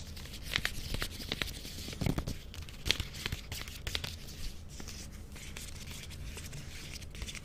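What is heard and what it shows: Fingers and nails pull at the end of a small Reptar chocolate bar's colorful plastic wrapper as if tearing it open. Sharp, bright crinkles and crackling snaps come in quick bursts over a low background rumble, loudest in the first few seconds before settling into softer rustling.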